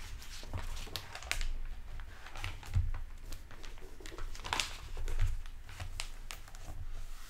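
A hardcover library book with a glossy plastic-covered paper dust jacket, lying on a wooden table, is tapped and scratched with fingertips and nails while it is opened and then closed. Many sharp, dry taps and crinkles sound over a low rumble, with bright crackling bursts.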